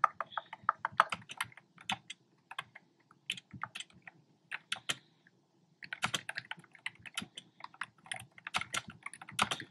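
Fingertips with short nails type on a black plastic keyboard with round, retro-style hollow plastic keycaps in cream, pink and red. Quick bursts of crisp, hollow, bright clicks come in uneven runs, each tap dying away at once. There is a short pause near the middle before the typing picks up again.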